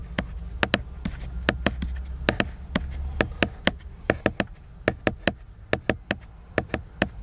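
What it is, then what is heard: Laminated cardboard hardcover book. Fingertips and nails tap the cover of a large, solid, flat, laminated glossy cardboard hardcover book. About 25 short, dry, crisp taps ring out with bright clicky tops, irregularly spaced. A low hum sits underneath.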